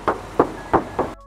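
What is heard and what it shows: Four knocks on the steel hood of a 2021 Mitsubishi Xpander Cross give short, hollow, tinny taps centred in the mid frequencies with almost no ring. The hood has its original paint and no body filler, and it still sounds like bare sheet metal.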